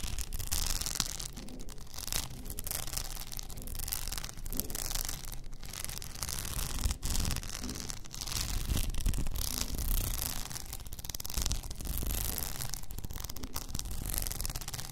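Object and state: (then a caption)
Rhinestone-covered tumbler. Long nails scratch across an upright blue rhinestone-covered tumbler with a frosted lid, making a steady, gritty rasping that swells and eases in waves. The scratching carries a bright, hissy edge over a heavy low rumble, with short pauses where the strokes briefly drop off.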